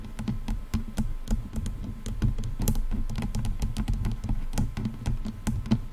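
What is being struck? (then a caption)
Padded plastic headphone headband. The padded leatherette-over-plastic headband of over-ear headphones is tapped and knocked with the long nails and fingertips of both hands. The result is a quick, uneven stream of short, dull, low-pitched taps with a faint thump around 220 Hz and almost no ring.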